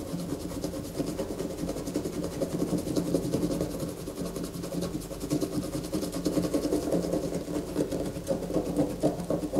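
Long fingernails scratch a solid white bar of soap lying on a paper poster, held steady by one hand. A continuous dry, rasping scrape with dense fine strokes fills the clip, centered in the low-mids and with little high-end brightness, growing slightly louder toward the end.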